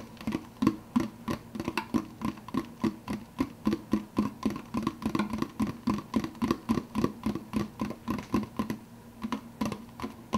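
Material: Plastic.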